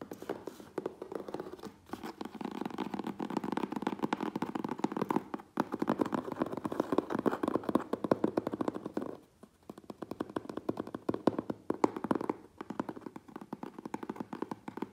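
A closed, hollow medium USPS Priority Mail corrugated cardboard box is held in both hands while fingertips and nails rapidly tap and scratch its front and sides. The result is a dense, continuous patter of dry, hollow mid-range taps with scratchy texture, broken by brief pauses around 2, 5.5, 9.5 and 12.5 seconds.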